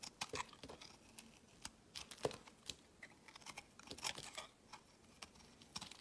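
A palm-sized, solid round tan bar of soap is held in the hand and shaved with a utility-knife blade, producing a quiet series of short, crisp scraping and crackling cuts with a bright, hissy edge and almost no low end. Each stroke dies away almost at once as long curled shavings pile up below.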